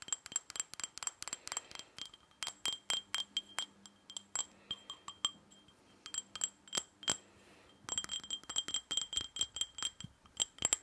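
A small hollow glass tumbler with red glitter on the outside, held in both hands, is tapped rapidly with long fingernails. The result is a quick series of short, bright glassy clinks with high ringing overtones and almost no low end, broken by a couple of brief pauses.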